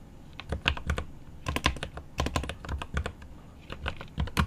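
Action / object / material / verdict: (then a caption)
tap / mechanical keyboard with plastic keycaps and aluminum case / plastic, aluminum / none. Rapid typing with one hand's fingertips on a mechanical keyboard with plastic keycaps and an aluminum case, giving a fast run of sharp clacky key taps. About twenty-three taps come in quick irregular bursts, each a short click with a bright top and a deep, thocky low body that dies away almost at once.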